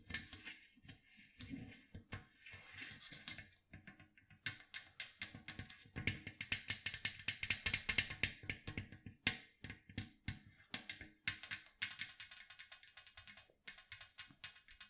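Long acrylic nails scratch and tap the lid of a large, round, hollow metal cookie tin tilted upright. Soft scraping gives way to rapid, bright metallic clicks that ring tinnily around 2.1 kHz. Each tap dies almost instantly, leaving a quiet, dense patter.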